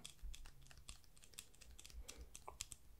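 Fingertips and nails tap and click on a small, hollow, white glossy plastic earbuds charging case (AirPods-style) held in both hands close up. The result is a quick, irregular run of dry, bright clicks with no ring, over a faint low rumble.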